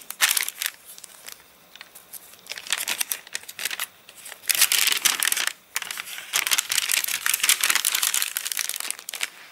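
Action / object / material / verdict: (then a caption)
scrape / paper catalogue pages / paper / none. Fingers turn the crinkled pages of an open, rain-dried paper catalogue while a palm rubs over the wavy paper. Bright, dry crinkling and crackling come in dense bursts with no low end, swelling into longer loud rustles between quieter stretches.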